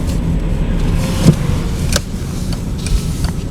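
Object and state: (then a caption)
Knocking front suspension bump stop (faulty). Dull rubbery knocks come from the front suspension of a VW Passat B5 driven over a rough road and a manhole cover, where the upper rubber bump stops on both the left and right sides strike their cups. Four short, muffled thuds stand out over a steady low rumble of driving noise. The faulty bump stops were confirmed by a worn rub mark on the cup.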